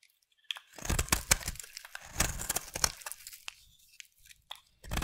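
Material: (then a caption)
Soap. A utility knife blade scrapes curls from a solid purple bar of soap held in the hand, making dry, bright crunching scrapes. Bursts of rasping come in quick, uneven strokes with short pauses between them, each stopping abruptly with almost no ring.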